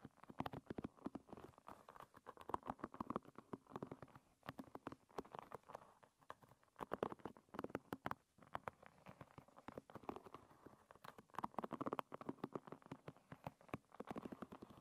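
Long red nails flick and scratch across the pin tips of a wooden-pin hairbrush. The result is a steady, quiet stream of rapid, dry ticks and soft scratchy patter, mostly midrange, with little low end and no ring after each flick.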